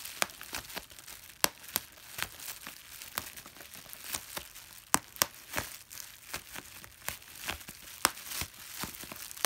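A clear plastic bubble wrap sheet of small air-filled bubbles is held in both hands while the thumb and fingertips squeeze and pop the bubbles. Sharp, bright pops burst out at irregular intervals over a continuous, hissy crinkling of the plastic film. Each pop dies away almost instantly.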